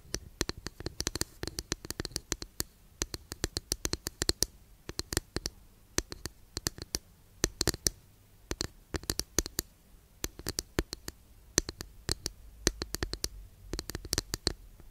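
Long nails tap and scratch a long, flat, thin, solid wooden incense holder held behind the mic. The result is irregular bursts of quick, dry, bright clicks with light scratching, separated by short quiet pauses. Each tap dies away almost instantly.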